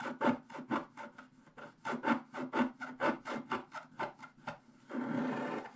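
A pointed wooden stylus held in the fingers scratches away the black wax coating of a flat scratch-art paper page, which has a colored print underneath and lies on a table. About 17 short, raspy strokes scrape out in a loose, uneven rhythm, with a low papery tone. The clip ends in one longer, continuous scrape.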